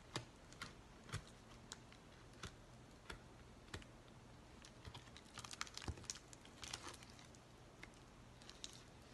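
Fingertips and nails scratch and crinkle the bubbly surface of an empty white plastic bubble mailer. Quiet, sharp, bright crackles and ticks come in scattered bursts, busier in the middle of the clip, over a faint low hum. Each tick dies away almost instantly.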